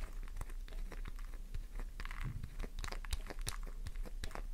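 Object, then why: Solid bar of soap. A solid pink flower-shaped bar soap held in the palm is scraped with long nails, leaving soap dust over the hand. Quick, dry scratching and crumbly crunching bursts come in a rapid, uneven stream, with sharp bright clicks over a steady low hum.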